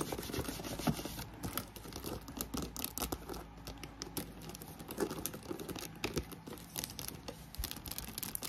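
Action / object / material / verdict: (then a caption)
tap / croc-embossed faux leather handbag / faux leather / none. Long nails rapidly tap and scratch the front and handles of a hollow black croc-embossed faux leather handbag with a metal clasp, making fast, dense clicks and dry, bright scraping over the steady whoosh of a fan running in the background.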